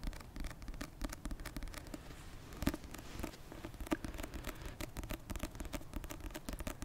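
A paperback copy of the novel *Icebreaker*, a solid paper block with a glossy card cover, is held close to the mic and tapped on the cover with long red-painted nails. The result is a steady stream of quick, dry, dull taps and light scratchy clicks, weighted toward low tones, with a couple of sharper, louder taps standing out midway.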